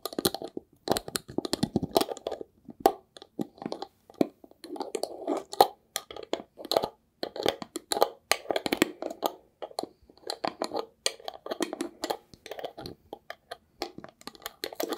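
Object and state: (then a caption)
Small glass jar with metal lid. A small labeled glass jar with a gold lid is held in the hands and scratched and tapped with fingertips and nails. Dense bursts of crisp scratching and quick, dry clicks come in uneven clusters with brief pauses, centered in the midrange with bright, sharp edges. The taps die away almost instantly, leaving little ring.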